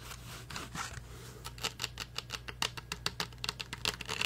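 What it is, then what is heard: Rhinestone-covered plastic karaoke microphone. Fingernails rapidly tap and scratch a blue rhinestone-studded karaoke microphone with a hollow plastic body and metal mesh grille. A soft, bright scratching rustle opens the clip, then gives way to a quick run of sharp, clicky taps with very short ring. A low steady hum sits underneath throughout.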